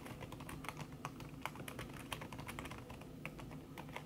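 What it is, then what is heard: Keyboard with silicone key cover. Fast typing with the fingertips and long red-painted nails on a thin backlit aluminium keyboard, its plastic keys covered by a red silicone skin. A quick, steady stream of soft, muffled key taps with short bright clicks rides over a low, dull rumble, each tap dying away almost at once. The overall level stays quiet and even throughout.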